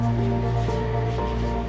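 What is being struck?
Nothing is struck.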